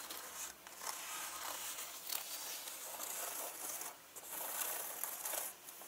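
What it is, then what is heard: Leather handbag, scratched and unzipped. Fingers with long nails scratch a turquoise leather handbag with gold zippers lying on a table and pull at its zipper tabs. The result is a steady, quiet stream of bright, dry scratching and rustling with short zipper rasps mixed in, and almost no low end.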